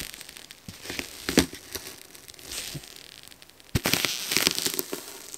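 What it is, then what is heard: Frozen foam sponge. A metal fork repeatedly scratches the top of a frozen yellow foam sponge block, leaving marks, while a gloved hand steadies it. The result is a bright, dry, crackling scrape with irregular crunchy bursts, including a sharp louder snap near the end, over a quiet background.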